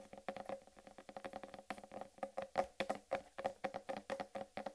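A large, solid whole watermelon is held in both hands while long red nails tap and patter quickly across its rind. About thirty short, hollow, woody knocks ring briefly around 550 Hz with little deep bass or high brightness. They fall in an uneven, rapid rhythm that grows louder toward the middle and end.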